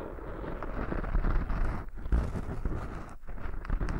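Fingertips and short nails scratch and rub in a circular motion over two soft, porous black foam windscreens on binaural microphones. The result is a dense, muffled, low rumbling rustle with continuous scratchy crackle, heavy in the bass and almost nothing bright, rising and falling slightly in loudness throughout.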